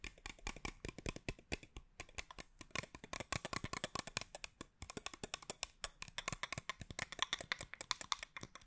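Long acrylic nails tap and scratch a small clear plastic spray bottle with a teal cap, partly filled with liquid and held close to the microphone. A rapid, continuous stream of sharp, bright plastic clicks and light scraping is heard, each tap dying away almost instantly, with brief pauses around the two- and five-second marks.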